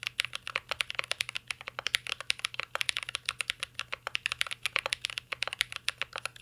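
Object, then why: Mechanical keyboard with metal case and plastic keycaps. Fingertips of both hands type continuously on a mint green Cyberboard R3 mechanical keyboard with a metal case and plastic keycaps. About 49 short, sharp, bright keystroke clacks are heard in a quick, uneven stream, each dying away almost instantly.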